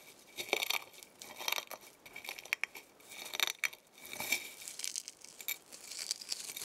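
A pile of dry, brittle eggshell fragments on a white plate is pressed and crushed under fingertips with long painted nails. Bursts of bright, dry crackling and crunching come in quick clusters, with sharp little clicks and almost no low end. The shells crumble into smaller pieces.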